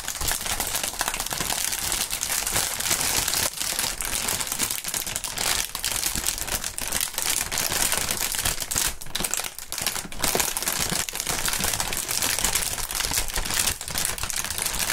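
A thin, clear plastic air-pillow packing strip with green print, partly inflated, is held between both gloved hands, crinkled and squeezed so its cells pop. The result is dense, bright crinkling and crackling with sharp little pops that runs steadily for the whole clip, easing briefly around the middle.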